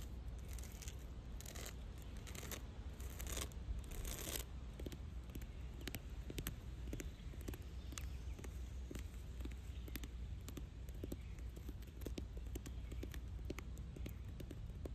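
Long dark red nails scratch and tap along the rough grey bark of a large, solid fallen log lying in grass. Bright, rasping scratches dominate the first few seconds, then give way to a steady run of quick, dry taps and scrapes. A faint, constant low rumble sits underneath throughout.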